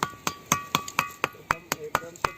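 A stone is struck repeatedly and rings with a metal-like tone, unlike the other stones around it, which give no sound. Ten sharp, evenly spaced strikes each produce a bright, bell-like ping centered near 1.1 kHz with high overtones. Each ping decays quickly.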